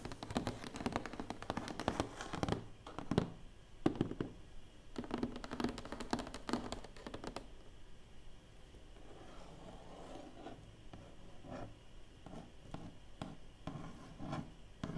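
Long painted nails tap and scratch the lid of a large, closed, hollow black cardboard award box. Quick, dull, muffled taps come in dense bursts through the first half. After that, softer scratching and scattered taps continue.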